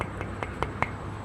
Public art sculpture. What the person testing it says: Not much. Very solid. Yeah, extremely solid.